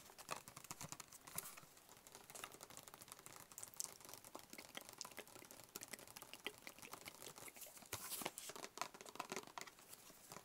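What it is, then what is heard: Cardboard box tapped with fingertips. A hollow, closed, white cube-shaped cardboard box is held in the hands and tapped quickly with the fingertips. The result is a quiet, steady stream of rapid, soft, dry taps with a bright, papery crinkle, almost no low end, and no ring after each tap. Slightly louder flurries come near the start, around 1.5 seconds, and around 8 seconds.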